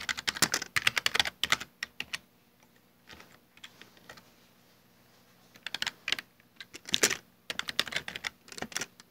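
Bare fingertips type fast on a full-size black plastic Dell desktop keyboard with hollow keycaps. Quick bursts of bright, clacky key clicks die away almost instantly, with a quieter stretch of sparse, softer taps in the middle before rapid typing resumes.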